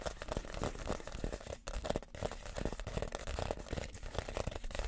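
Fingernails scratch across the woven outside of a small, empty woven reed basket. The result is a steady, dense, crackling rasp that is mostly low and dull, with a brief dip partway through before the scratching picks up again.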